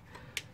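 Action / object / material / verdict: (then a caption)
tap / metal clutch component / metal / detached. Two sharp taps on a clutch-area part of a Peugeot 407 / Citroën C5 2.0 HDI during a clutch job, each a brief bright click that dies almost at once. The part sounds hollow and no longer gives its usual note when tapped because it has come unstuck, and it is detached.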